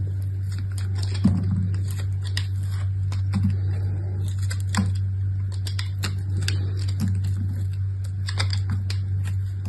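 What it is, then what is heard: Dry bar soap being scraped. A utility knife with an orange handle shaves and scrapes flakes off a hand-sized, dried-out chunk of multicolored soap (pastel blue, pink and green with a dark outer crust), held in one hand with long red nails and turned as it is cut over a table. Short, dry crackling scrapes and bright ticks come in quick bursts over a steady low hum that runs through the whole clip.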